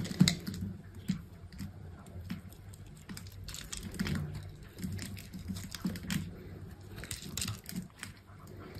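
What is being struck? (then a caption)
Bar of soap cut with a knife. A utility knife held in a hand with long pink nails carves a solid green bar of soap that has been scored into a grid, cutting off small cubes. Soft, crisp clicks and short scraping ticks come in an irregular run, with dull low thumps under brief bright snaps as each piece breaks away.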